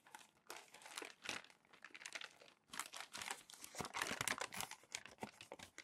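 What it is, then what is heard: Crumpled glossy magazine paper. Hands smooth, rub and fold crumpled glossy magazine sheets on a stack of pages. The result is a quiet, dense run of bright, papery crinkling and crackling in irregular bursts, easing off briefly in the middle before picking up again. Each crackle is dry and short, with almost no low end.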